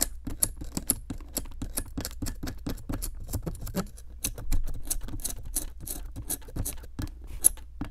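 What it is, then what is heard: Plaster block being chipped. A metal chisel held in long-nailed fingers picks at a solid pink plaster excavation block from a Brachiosaurus 3D excavation kit. It makes a steady run of quick, dry chipping ticks and short scrapes with bright, crisp tops. Each hit dies away at once over a low background rumble.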